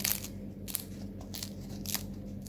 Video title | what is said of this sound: Organizzazione pasti settimanali | che croccantezza, questi sono croccanti